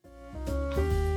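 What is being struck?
Nothing is struck.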